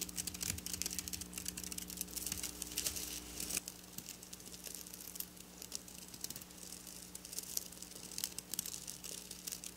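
Long black nails scratch across the rows of flat silver sequin fabric lying on a table. The result is a dense, bright, crinkly rustle of quick ticks and scrapes over a faint steady low hum. A deeper rumble drops out after about three and a half seconds.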